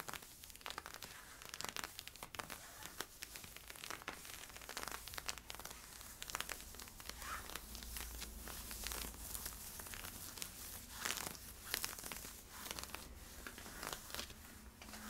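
Fingernails scratch the side and hip of worn camo polyester-spandex stretch leggings. A steady, quiet stream of dense, bright, crinkly rasps and crackles comes from rapid, overlapping strokes. Occasional sharper scrapes stand out from the continuous texture.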